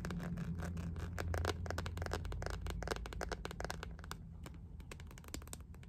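An empty clear, iridescent, ribbed plastic phone case is held and tapped with long nails. Quick, uneven, sharp plastic clicks run over a low rumble of handling noise, and the tapping grows quieter toward the end.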